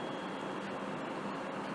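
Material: Nothing is struck.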